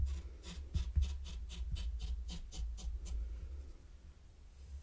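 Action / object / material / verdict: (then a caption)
scrape / fine sand on a wooden tray, small wooden rake / sand / none. A mini wooden rake is dragged through fine pink sand covering a large, flat, heart-shaped wooden board. It makes a quick series of soft, bright, scratchy raking strokes over a steady low hum. The strokes fade after about three seconds, leaving only faint sand rustle.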